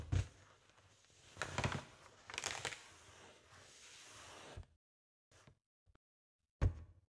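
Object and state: Inflated latex balloon.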